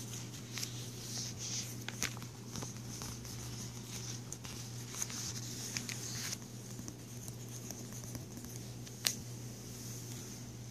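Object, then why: Thin plastic page protector sheet. Fingertips and nails lift a thin frosted plastic page protector sheet in a ring binder, then rub and tap across its plastic surface. Quiet, bright crinkling rustles and scattered soft ticks play over a steady low hum, with one sharper tap standing out near the end.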